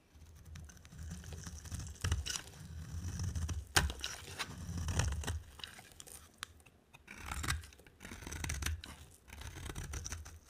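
A solid white soap bar with a yellow outer layer, held in the hand, is shaved with a utility knife blade into flaky curls. Dry, crisp scraping strokes come in repeated bursts with a low rumble beneath and bright, crackly flecks on top. The dry soap peels away in thin shavings.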